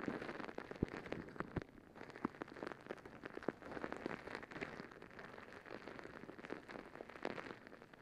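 A soft rubber squishy stress ball filled with gel beads is held over the microphone and scratched with long nails. The result is a quiet, dense, rain-like patter of crackly scratches, with sharper clicks and ticks popping out now and then over a steady bed of soft rustling.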